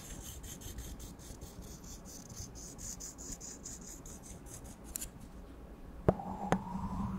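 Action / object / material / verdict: scrape / small thin plastic spoon / plastic / none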